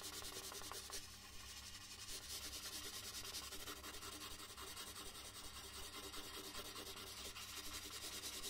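A red colored pencil shades a large white paper sheet resting on a wooden desk with repeated rubbing strokes. A steady, bright, scratchy rubbing continues throughout at an even, quiet level over a faint low hum.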